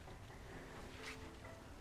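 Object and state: Nothing is struck.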